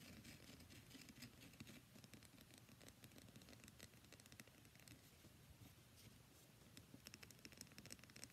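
Long nails scratch rapidly along the surface of a solid cream-white bar of soap held in both hands. The result is a quiet, continuous stream of dense, dry scratching with crisp, bright ticks over a soft low rustle, each stroke dying out almost instantly.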